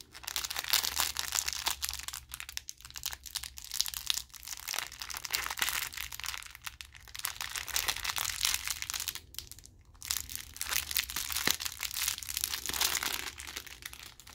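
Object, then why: Thin plastic wrapper around a bandage roll. Fingers rub and peel open a clear plastic wrapper around a white bandage roll, setting off continuous bright crinkling and crackling with a faint low hum underneath. The crinkles come in dense bursts that swell and ease, with a brief near-silent gap around ten seconds before the rustling picks up again.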